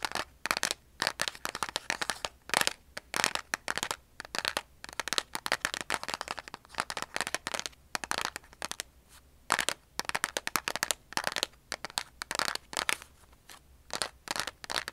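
Long nails tap and scratch the sides and edge of a large Diamond cardboard strike-on matchbox, hollow and likely full of matches, held in both hands. Rapid bursts of dry, crisp clicks and scratchy rasps come in uneven clusters with short pauses between them. The sound is bright and papery with almost no low end, and each tap dies away instantly.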